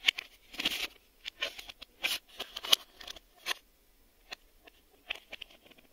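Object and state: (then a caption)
Plastic VHS video cassette. A black plastic VHS video cassette with a hollow shell is tapped on its edge and face with a fingertip and a short nail. The result is an irregular series of bright, dry clicks and scratchy taps that die away almost instantly, with quiet gaps in between.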